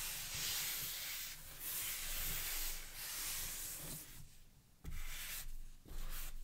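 White cotton-gloved hands turn over and rub the printed cardboard retail box for a JBL Xtreme 2 speaker, a medium-large box with orange sides, a carry strap and a black front, with the speaker presumably inside. Steady, bright, hissing friction swells and fades in long strokes over a low rumble. Quieter gaps break it up near the end before the rubbing resumes.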